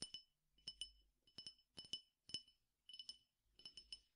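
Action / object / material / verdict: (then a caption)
tap / glass tumbler with peppercorns / glass / none. A clear glass tumbler partly filled with peppercorns or seeds is tapped on its side with fingernails in quick pairs and small clusters. Each tap gives a short, bright glassy clink that dies away almost at once, with little low end and quiet pauses between the bursts.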